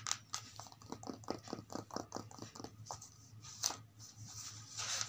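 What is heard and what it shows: Long multicolored acrylic nails tap and scratch the pages of an open, thin children's paperback lying flat on carpet. The result is a quick run of crisp, papery taps with bright clicks, followed by a softer, hissing scratch near the end.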